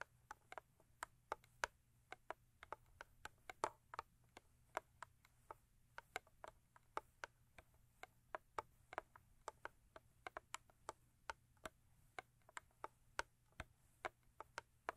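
Long acrylic nails tap rhythmically on the sides of a thin cardboard Crest toothpaste box. The result is a steady run of dozens of quiet, crisp, dry clicks with almost no ring, over a faint low hum.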